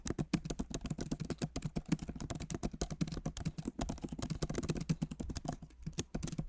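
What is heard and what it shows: Both hands type rapidly with their fingertips on the plastic keycaps of a backlit MacBook Pro Magic Keyboard set in an aluminum body. The result is a fast, continuous stream of soft, short, dull clicks and taps, weighted toward the low end, with no ring after each keystroke.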